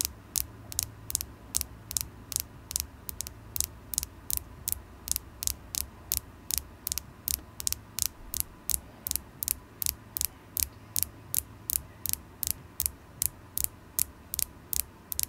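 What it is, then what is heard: Carnelian crystal point tapped with nails. A solid polished carnelian stone point held in the fingers is tapped with long acrylic nails, about 45 times over 15 seconds. Each tap is a short, bright click that dies away almost instantly, with a faint low hum underneath throughout.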